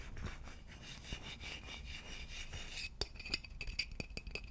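Fingers rub and then tap the neck and body of a hollow wooden vase held sideways close to the microphone. A soft, breathy scraping with a low rumble fills the first three seconds. It gives way to a run of short, dry taps with a faint bright ring.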